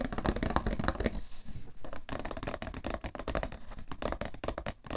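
A palm and fingertips tap rapidly on the top and sides of a cardboard tissue box. The taps are dull, short, low-heavy thuds with almost no ring, with a brief quieter, hissier pause just after the first second. The tapping then resumes in a quick, uneven rhythm until the end.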